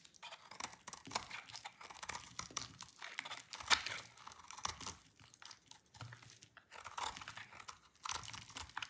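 A utility knife cuts shreds from a solid, dry, red-orange translucent oval soap bar held in the hand. The sound is a quiet, continuous run of crisp, bright scraping and crunching strokes, with one sharper snap partway through. There is almost no low end.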